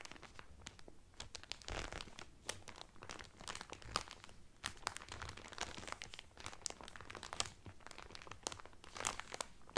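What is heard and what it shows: Fingertips and nails crinkle the clear cellophane wrapper around a blue Carnival cotton towel folded flat. The result is a steady stream of sharp, bright crackles and crunches with very short decay, some pops standing out louder than the rest.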